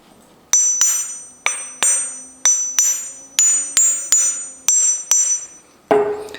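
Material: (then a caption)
Wrought iron. A newly made Southern German pattern anvil, built up from wrought iron pieces with a steeled face, is struck with a hammer about a dozen times. Each hit gives a bright, high metallic ping that fades within a fraction of a second. The anvil has a bit of a ring, but less than other anvils.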